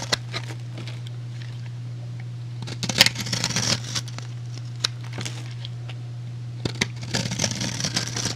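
A metal utility blade cuts and shaves a solid, rectangular, hand-sized white soap bar with an embossed design into cubes and powder. Sharp, bright crackling scrapes and clicks come in bursts around 3–4 seconds and 7–8 seconds over a steady low hum. Some isolated snaps fall in between.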